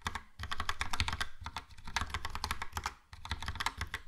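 Fingertips type quickly on a Logitech POP Keys plastic mechanical keyboard with a yellow plastic case and round plastic keycaps. A dense run of short, clacky taps with a low thud beneath each keystroke comes in bursts separated by brief pauses.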